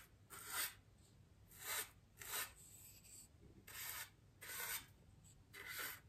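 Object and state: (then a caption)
Styrofoam ring brushed with a paintbrush. The bristles of a small paintbrush are brushed across a large, white, solid styrofoam wreath ring resting on a table. Six separate soft, bright, airy swishes are heard, each a scratchy rustle with quiet pauses between strokes.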